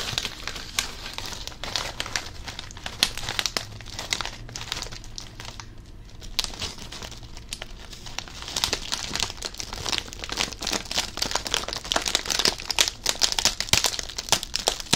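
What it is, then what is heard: Crinkled foil chip bag. A medium-sized blue Covered Bridge potato chip bag made of plastic foil and full of chips is held near the ear and crinkled with the fingertips. Dense, bright crinkling and crackling come in rapid bursts, easing briefly around the middle before growing busier and louder toward the end.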